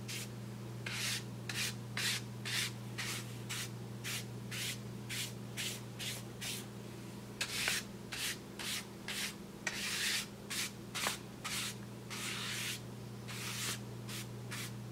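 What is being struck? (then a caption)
Brown kraft paper bag. A paintbrush is pressed and rubbed across the surface of a large, flat brown kraft paper bag held with fingers. It makes a quick series of bright, scratchy brushing strokes at about two per second, some longer and louder than others. A steady low hum runs underneath throughout.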